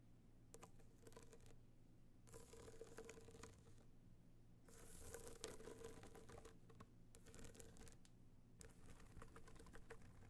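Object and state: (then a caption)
Hard-shell box clutch, hollow. Long nails of both hands tap quickly on a small, rigid, hollow gold hard-shell box clutch covered in metallic material with raised dots, lying on fur. The result is bursts of fast, irregular clicking and scratching with a faint hollow ring, separated by brief pauses, over a steady low hum.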